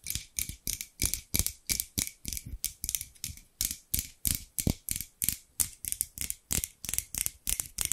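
Large steel scissors, held in both hands with long pink nails, are repeatedly scissored open and shut so the metal blades rub together. The result is a quick, slightly uneven series of short, bright metallic snips and scrapes, about three per second, each with a dull low thump underneath and almost no ring.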